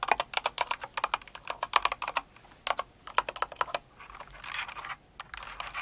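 Long nails type on the number pad of a blue and white Cinnamoroll-themed mechanical keyboard with plastic keycaps, producing about thirty sharp, bright, clacky keystrokes in quick bursts. The bursts are separated by brief pauses, and a stretch of softer, brushing taps comes near the end before the crisp clicks resume.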